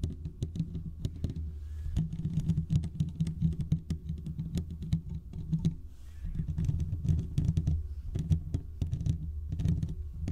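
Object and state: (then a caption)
Metal mesh microphone grille being scratched. Fingertips and short nails from both hands scratch the hollow domed steel mesh grille of a large desktop condenser microphone. The result is a dense, continuous rumbling scrape heavy in low frequencies, peppered with rapid sharp ticks and brief bright clicks that stop quickly.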